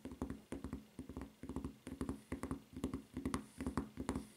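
Long red-painted nails rapidly tap and scratch the white rubber footbed and red rubber strap of a solid flip-flop lying on a table. The result is quick clusters of dull, muffled taps with a low, hollow tone and a light scratchy texture, each dying away almost instantly.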